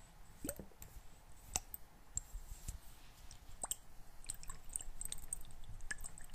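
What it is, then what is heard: Small glass bottle partly filled with water. A small clear glass bottle, partly filled with water, is shaken and tilted so the water sloshes inside while fingernails click against the glass. Quiet, soft sloshing fills the low end, broken by sharp, brief clicks with a bright, high glassy ring that fades almost at once.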